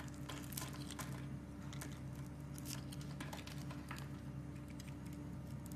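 A metal knife blade scrapes and slices thin strips off the pre-scored surface of a solid, hand-sized blue Arko Men bar soap held in a hand with red painted nails. Soft, crisp scraping and crinkly cutting sounds come in quick bursts with bright edges, over a steady low hum around 137 Hz.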